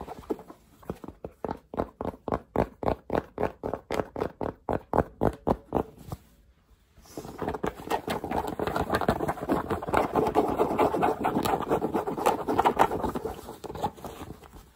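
A charcoal cotton baseball cap with a printed logo and hollow crown is held in the hands while fingertips tap and scratch its fabric crown. For about six seconds there are quick, dull, evenly spaced taps, then a short pause. After that comes a denser, continuous scratching mixed with taps that lasts to the end.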